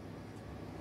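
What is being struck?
Nothing is struck.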